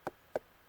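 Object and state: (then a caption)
Ripe pumpkin, hollow thump. A ripe pumpkin in the field is thumped twice to test whether it is ready for harvest, after its skin has passed a fingernail test for hardness. Each thump is a short, hollow knock centred around 600 Hz that dies away almost at once. The hollow sound indicates the pumpkin is ready to harvest.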